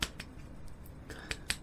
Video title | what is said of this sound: Comparing and testing two cheap LED aluminium flashlights - camping - outdoor - affordable | this one has this plastic case and everything is on Springs and hold firmly in place